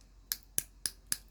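A brush taps an acrylic nail bead, made from UV monomer with acrylic powder, on a practice nail to check whether it has cured. Four sharp, bright clacks sound at even intervals, each dying away almost instantly. The clacking shows the bead is dry, cured in 1 minute 30 seconds.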